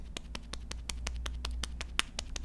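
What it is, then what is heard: Thin regular foam cushion puff patted on skin. An ordinary thin foam cushion puff is patted against the face thirteen times in a steady rhythm, as a comparison with a thicker puff. Each pat is a short, light, dry tap with a bright crisp edge, over a constant low hum. This is the normal sound of a conventional puff.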